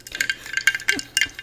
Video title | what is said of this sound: Pandemic Bucket List - Episode #66 | if I do pick up my glass, you can hear the ice